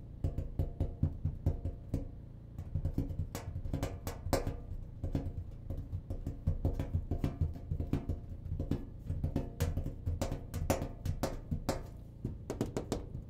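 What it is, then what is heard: Clothes dryer cabinet. The cabinet of a clothes dryer is tapped in a quick, uneven run of many short, dull knocks. The taps are low and hollow, centered near 86 Hz with little high-frequency content, and each dies away almost at once.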